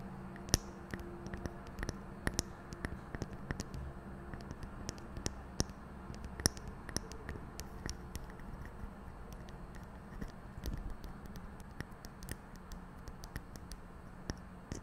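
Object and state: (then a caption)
Metal microphone grille. Long painted fingernails on both hands scratch and tap the hollow metal mesh grille of a large silver condenser microphone. Quiet, dense scratching runs throughout, punctuated by many sharp, bright clicks that die away instantly, over a low hum.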